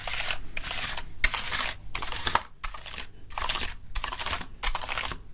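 A small black brush or tool scrubs and scratches across the keys of a full-size plastic gaming keyboard with a hollow body, held up in one hand. The result is a run of bright, hissy, crinkling scrapes in back-and-forth bursts with brief pauses, plus a few sharper clicky ticks.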